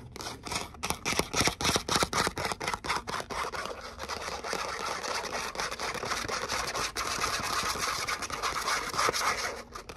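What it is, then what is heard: Glitter cardstock letter cutout. Long nails scratch and tap a thin gold glitter cardstock letter "O," which is at times bent slightly in the hands. Quick, uneven dry taps and bright crackly scrapes come first, then blend into a steadier, continuous rasping scratch with occasional louder taps.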